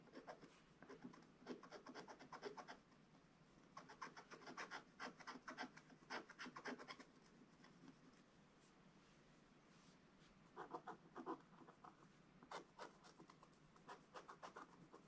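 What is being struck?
Wax-coated scratch-art paper scratched with a wooden stylus.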